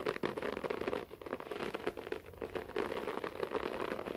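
Fingernails on both hands scratch quickly across a beige short-pile floor carpet. The result is a dense, steady, crackly rustle, strongest in the low-mid range around 450 Hz, with rapid uneven strokes blending together.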